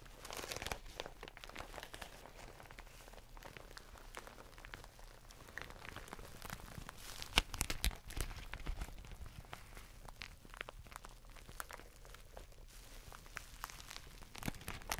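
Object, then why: Thin plastic bag. Hands crumple and crinkle a glossy, thin black plastic bag with a white top edge, held close to the face. A steady, dense crackling rustle runs throughout, with bright, sharp crinkles and louder snaps around the middle and near the end. A faint low hum sits underneath.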